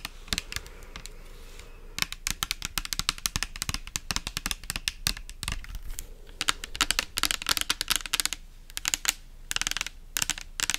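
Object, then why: Plastic pump bottle filled with liquid. Long nails tap and scratch a pink translucent plastic pump soap bottle with an orange pump, filled with liquid. The result is a rapid, uneven stream of sharp, bright plastic clicks and ticks with very short decay, broken by brief pauses and faint scratchy rustles between bursts.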